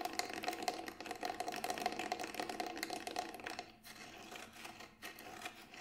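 Fingertips tap rapidly on the side of the grey textured synthetic shell of a Remo Buffalo frame drum, a large hollow round drum held in both hands. The dense, irregular taps carry a short, steady mid-pitched ring. After about three and a half seconds they become softer and sparser.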